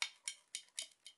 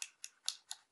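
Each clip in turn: First: all-metal airsoft pistol. Second: all-plastic airsoft pistol, not metal.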